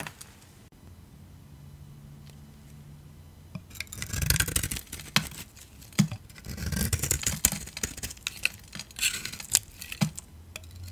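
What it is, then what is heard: Dry soap bar. A metal utility blade scrapes and cuts crunchy shavings off the face of a solid rectangular dry AXE soap bar with a pink, yellow and blue coating, held in one hand. After about three and a half seconds of quiet low hum, dense bright crunching and scraping bursts begin and continue to the end.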